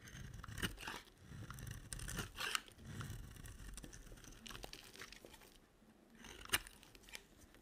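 A solid, green-coated white dry soap bar, held in hand, is shaved with a box cutter blade. Bursts of dry, crunchy scraping come with bright crisp cracks as the blade bites in, and the loudest snaps fall near the start, the middle and the end. Quieter rasping fills the gaps between them.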